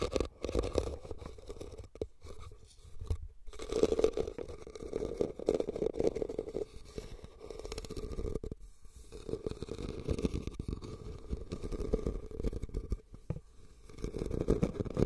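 Fingernails scratch and tap across the woven surface of a hollow, red, cylindrical rattan basket. The result is a steady, dry rasping broken by quick, soft taps. A hollow resonance hums around 440 Hz, with most of the energy sitting low and very little bright content.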